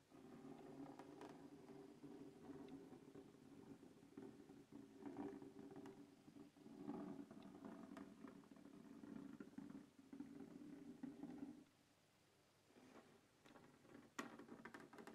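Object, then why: Hard plastic case. Fingertips scratch and tap the lid of a closed black textured hard plastic carrying case resting on a wooden table. A steady, dry scratching rasp with a low-mid body continues for about twelve seconds, then drops to near silence. A few scattered light taps and scratches follow, with one sharp, bright click near the end.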